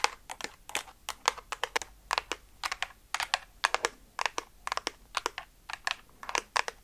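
A blue and pink hollow plastic water-gun-style toy gun, held in hand in front of a fluffy microphone, is tapped and scratched with long dark nails. Its surface gives bursts of sharp, dry, bright clicks with almost no low end. Each click dies away almost instantly.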